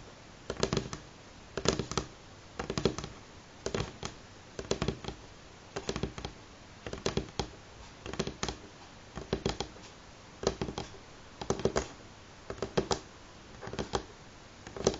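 Fingernails of both hands tap on a solid, light wooden table top at varying speed. The taps come in quick clustered bursts about once a second, each a dry, short click with a woody midrange knock around 390 Hz and little ring, separated by quiet pauses.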